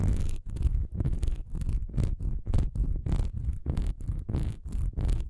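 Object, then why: Textured wax pillar candle. A solid honeycomb-textured wax pillar candle lies horizontally while its diamond-textured surface is scratched fast with long nails. The result is a steady run of quick, dry, rasping strokes with a deep, low-heavy body, separated by brief silent gaps.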